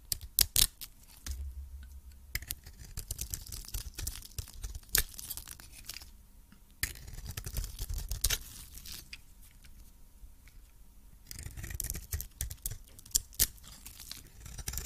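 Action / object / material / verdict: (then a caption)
scrape / coated soap bar scraped with a metal blade / soap / none. A metal blade scrapes shavings off a hand-held, solid oval soap bar with a blue coating and a cream interior. Dry, crisp scraping and crunching comes in bursts with sharp bright clicks between them and a low rumble underneath.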